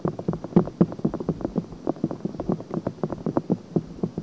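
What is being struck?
Silicone binaural microphone ear.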